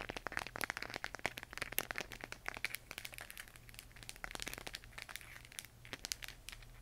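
Long painted nails tap and scratch the textured surface of a hollow plastic LED moon lamp glowing cyan, close up. Rapid, crisp clicks and crinkly scratches with almost no ring run throughout, over a faint steady low hum.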